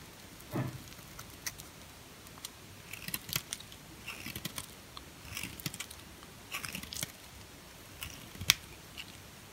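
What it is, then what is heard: Bar soap being cut. A red-handled utility-knife blade cuts and shaves a small, solid, white, hard bar of soap held in the hand into flakes. A series of short, dry, bright scraping and crackling cuts come in quiet bursts, with one sharper snap near the end.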